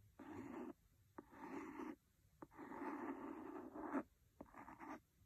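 A wooden pencil scratches and taps quickly on the cover of a large, solid, red cloth-covered hardcover book. Dry, rasping scratch bursts alternate with short, sharp taps that die away almost instantly, then quiet gaps between them.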